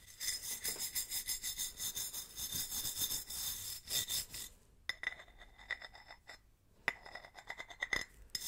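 A wooden-handled bristle brush is rubbed along the ribbed grooves of a large, hollow, silver ribbed tin or metal swing-top bottle, held sideways in gloved hands close to the mic. Rapid, bright, scratchy rasping strokes ring with a faint metallic tone near 2 kHz. After a short pause, sparser, sharper scrapes follow.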